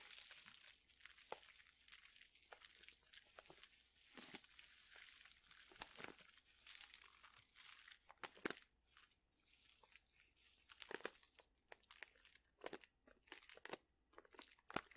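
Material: Plastic.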